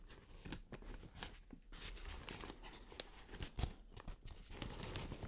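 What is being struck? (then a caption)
Thin plastic shower cap. Long nails scratch and crinkle an opened white plastic shower cap. A steady rustle of crinkling is broken by sharp, bright crackles and scratches, over a low, dull rumble.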